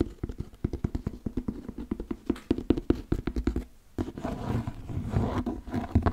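Fingertips tap and scratch a large, brown, stitched leather cowboy boot, hollow and empty, held by its shaft. A rapid series of short, dull, low-pitched taps with almost no ring is followed by a steadier, denser stretch of scratching and rubbing on the leather.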